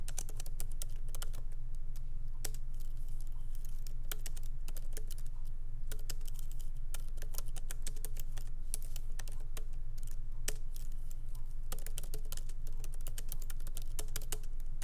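Light typing with the fingertips of both hands on a MacBook Pro laptop keyboard, its small plastic keycaps set in an aluminum body, resting on a wooden desk. Short, sharp, bright key clicks patter in an uneven, steady stream over a constant low hum.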